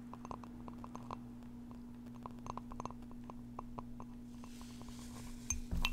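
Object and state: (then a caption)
Thick glass mug. Long painted fingernails tap quickly and lightly on the outer wall of a thick milk-glass coffee mug with a flower decal, held up close and possibly holding frozen blueberries. The taps are short, bright clinks with almost no ring, over a steady low hum. A louder clunk and rustle comes at the very end.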